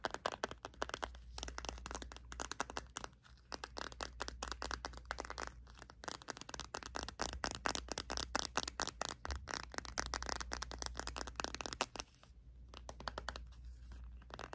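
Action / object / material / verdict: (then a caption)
tap / polycarbonate plastic smartphone shell / plastic / none. A pink plastic iPhone 5c, a small solid smartphone with a glossy polycarbonate shell, is held in the hands while fingertips and short nails tap and scratch its back and sides. Dense, rapid clicking taps and crisp scratches run almost continuously, with brief quieter pauses. A low steady hum sits underneath.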